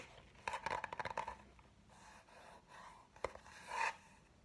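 A large spiral-bound notebook with a brown kraft cardboard cover printed with red graphics is held upright while fingernails and fingertips tap and scratch the cover. A quick burst of dry, papery taps is followed by softer scratchy rubbing, then a single sharp tap and a brief, brighter scraping swell. The sounds are quiet and dry, with no ring after each tap.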